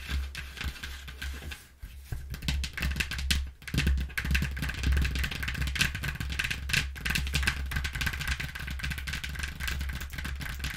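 Long nails scratch and tap a flattened brown corrugated cardboard box printed with a recycling symbol. Dense, irregular scratching and tapping crackles across the clip over a steady low hum, with brief quieter gaps near two and three and a half seconds.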